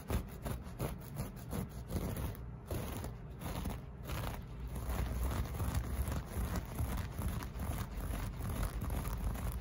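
Short fingernails on both hands scratch the loops of a flat beige loop-pile carpet piece made of solid textile. The result is a steady, irregular run of soft, dry scratching and rustling strokes, heavy in low rumble with very little bright content.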